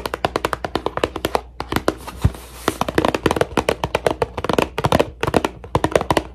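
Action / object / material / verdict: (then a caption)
tap / cardboard tissue box / cardboard / none. A cardboard tissue box is tapped for ASMR with quick, uneven fingertip-style taps, about 37 short, dry, hollow knocks centered around 500 Hz that stop almost instantly. A brief soft rustling hiss runs under the taps partway through, then the steady tapping continues to the end.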